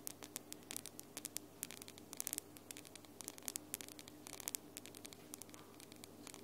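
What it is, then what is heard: Acrylic nails tapped together. Long glitter acrylic nails are tapped rapidly with the nail tips of the other hand, making quick, bright, dry clicks in uneven bursts. Each click stops almost at once, and a faint, steady low hum and hiss run underneath.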